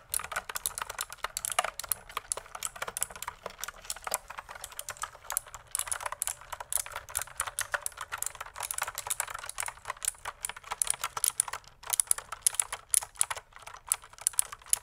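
A full-size pink mechanical keyboard with plastic keycaps and a hollow plastic case is typed on by fingertips. Rapid, dense key clicks come in an uneven stream for about fifteen seconds, with sharp, bright, short taps and almost no low end.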